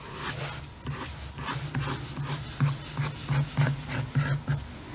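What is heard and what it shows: The tip of a blue pen traces and scratches over the printed artwork on the glossy laminated cardboard cover of a large, closed hardcover picture book lying on a table, while the other hand holds the book still. The result is a series of irregular, rapid rubbing and scratching strokes, about three per second, with bright scratchy edges over a steady low hum.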